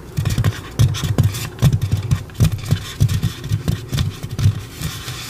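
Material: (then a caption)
Polystyrene foam. Long pink acrylic nails rub and scratch the back of a white polystyrene foam mannequin head. The result is a rapid string of dull, low, thumping scrapes around 100 Hz, with short bright ticks over them. Each stroke dies away almost at once.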